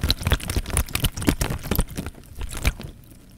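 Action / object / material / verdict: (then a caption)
shake / plastic bag filled with water / plastic / none. An elongated, clear, thin plastic bag full of water is held close to the microphone and squeezed and rubbed with the fingertips. Dense crinkles of the film mix with low, heavy sloshes and squishes of water, with bright crackle on top. The handling grows quieter and sparser toward the end.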